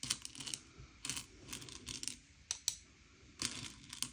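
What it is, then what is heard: Candy-coated chocolates being sorted. Fingertips slide and push a pile of small, hard, sugar-shelled M&M's candy-coated chocolates around a grey plate, sorting them by colour. Quiet, bright clicks and light rattling come as the shells knock together, with short bursts of scraping between them.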